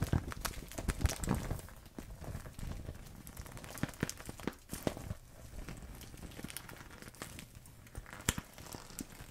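A clear plastic zipper pouch full of small paint tubes is crinkled and squeezed between two hands with long nails. Dense plastic crinkling and crackling mix with the soft clicking and shifting of the tubes inside, with sharper snaps at times. The sound stays busy and uneven throughout.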